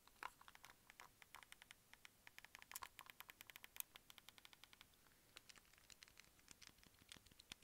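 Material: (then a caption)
Plastic. A white, hand-sized, hollow hard-plastic Wii remote with a wrist strap is held in one hand and tapped with the fingertips and nails of the other. About fifty quick, quiet taps come as bright, dry clicks with almost no low end, each dying away at once. They come in an irregular patter with a brief lull around the five-second mark.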